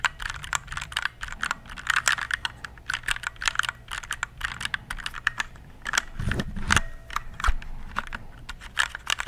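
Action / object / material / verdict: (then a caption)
tap / plastic mechanical keyboard / plastic / none. Fingertips type on a compact RGB plastic mechanical keyboard held close to the mic. A steady run of quick, sharp key clacks sounds with bright clicky tops, while a low thump and faint rumble come in around the sixth second.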